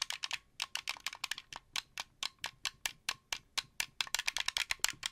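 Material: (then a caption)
Plastic. A translucent blue plastic wired Xbox 360-style controller with white thumbsticks, hand-sized and hollow, is held in both hands while the fingertips press and click its buttons and sticks. About 29 sharp, dry, rattly plastic clicks come in an uneven run that speeds up toward the end. Each click is bright and high with almost no low end, stopping instantly with no ring.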